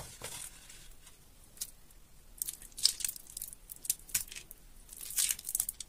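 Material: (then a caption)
Soap. Fingertips with light blue nails squeeze a solid, water-soaked soap bar striped teal, white and pink over a wet sink, rubbing off mushy flakes. Soft, bright crinkling and tearing crackles come in irregular bursts over a quiet background, each crunch ending almost instantly.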